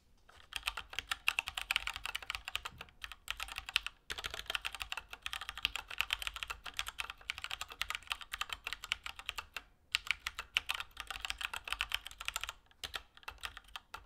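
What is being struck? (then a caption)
Plastic mechanical keyboard. Both hands type continuously with their fingertips on a compact Keychron K2 mechanical keyboard with Gateron Brown switches, hollow switch housings, and grey and orange plastic keycaps, resting on a desk mat. Rapid, bright plastic clacks with almost no low end and very short decay run in dense bursts, with brief pauses near 4, 10 and 12.7 seconds.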